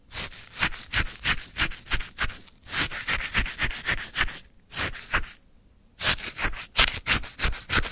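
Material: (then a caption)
Ice. A wooden stick scoops and scrapes icy lemon sherbet in a white paper cup topped with a lemon slice. It makes a steady run of bright, crunchy, gritty strokes at about three per second, with short gaps and a longer pause of about half a second near the middle before the scraping resumes.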